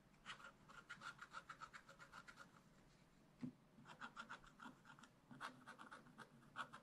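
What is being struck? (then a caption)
Black-coated scratch-art paper card scraped with a wooden stylus. A wooden stylus scratches leaves and fine details into a thin black-coated scratch-art card in a spiral book lying flat. Quick, repeated scratch strokes come in three short runs separated by brief pauses, each a dry, raspy rasp centered around 1.4 kHz with bright hiss above. The strokes are quiet and end sharply with no ring.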